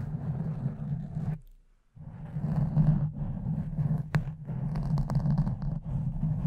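Long nails and fingertips of both hands scratch and rub a pink foam windscreen over a condenser microphone. The result is a dense, low, rumbling scrape with a droning tone near 180 Hz, dropping to near silence for about half a second early on. It resumes with fluttering rustles and a few brighter clicks.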